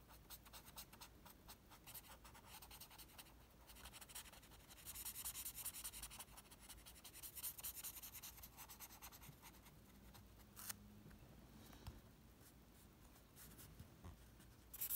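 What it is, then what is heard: Sheet of drawing paper. The tip of a red Faber-Castell Connector felt-tip pen is rubbed over a flat white sheet of drawing paper in short back-and-forth strokes, colouring in a logo bar. The result is a quiet, dry, bright scratching that swells a little in the middle, with a few sharper ticks near the end.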